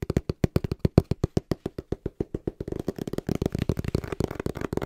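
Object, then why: Small cardboard box. A small, hollow brown cardboard box, held upright in both hands, is tapped fast and rhythmically with the fingertips. It makes a steady run of short, dull, low thuds with almost no ring. After about three seconds the taps grow quicker and denser, blurring into a busier, papery patter.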